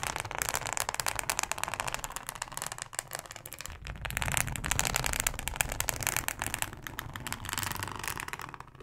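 Long acrylic nails scratch and tap a thin, flexible yellow plastic cutting mat with a ribbed texture. The result is a dense, continuous crackly scratching with bright, high hiss, rapid tiny clicks and a faint low rumble underneath.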